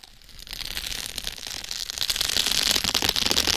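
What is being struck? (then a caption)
Plastic bubble wrap over a foam head. Long red acrylic nails scratch and press plastic bubble wrap stretched over a foam mannequin head from both sides. The result is a dense, bright crackling and scratching that steadily grows louder, with a strong high sizzle near the end.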